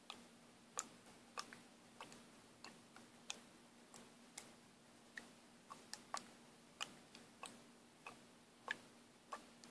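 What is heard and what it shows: A small plastic paint bottle with a mixing ball inside is shaken rapidly by hand. The ball rattles in about twenty sharp, bright clicks at an uneven pace, each dying away almost instantly, over a faint steady low hum.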